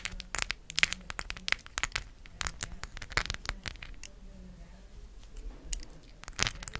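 A round, palm-size solid cork coaster with raised gold plastic letters glued on is held in both hands and scratched and tapped with long acrylic nails. The result is a rapid, irregular run of bright, crisp clicks and dry scratchy rasps with almost no ring, over a faint low hum.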